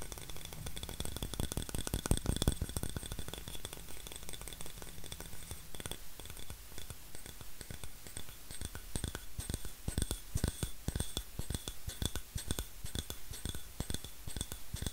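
A thin, flat, solid wooden disc, oval or round and held in one hand, is tapped and scratched with fingernails. It makes a rapid, uneven stream of short, dry clicks and taps with a soft low thump, plus faint scratching, over a quiet steady background with a faint bright tone.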